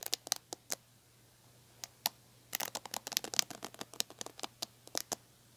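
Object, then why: Plastic paddle hairbrush with plastic bristles. Long painted nails scratch and pluck the ball-tipped plastic bristles of a large red plastic paddle hairbrush with a black cushion, held by its handle. Sharp, bright clicks and ticks come in quick bursts, with a pause early on and a dense flurry in the middle. Each click dies away instantly over a faint low hum.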